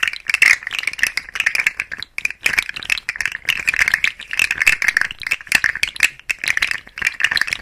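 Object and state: Plastic articulated fidget slug toy.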